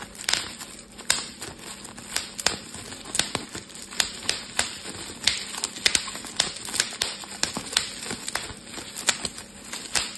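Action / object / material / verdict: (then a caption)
strike / plastic bubble wrap / plastic / none. Fingers pinch and pop the air-filled bubbles of a clear plastic bubble wrap sheet held in both hands. About 28 sharp, bright snaps ring out at an uneven pace, each dying away almost instantly. A soft crinkling of the plastic fills the gaps between them.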